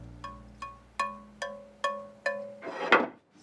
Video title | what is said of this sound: HARMONY celebrates the joy of music and the creation of handcrafted instruments | if you tap it it sounds like a crystal goblet